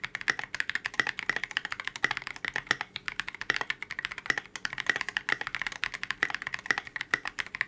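A KBD67 Lite 65% mechanical keyboard with a transparent polycarbonate case, C³ x TKC Kiwi switches and white and gray Oblotzky SA Oblivion V2 keycaps rests on a desk mat while both hands type continuously with their fingertips. The result is a rapid, steady stream of short, crisp clacks with a bright, clicky tone near 1.9 kHz and almost no low end.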